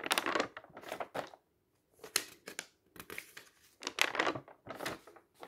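Fingertips lift and flip the pages of a large booklet of thin, uncoated paper printed with dense tables, lying on a table. The sheets rustle and rub against each other in bright, crinkly bursts with almost no low end. A short silent pause falls between the page turns.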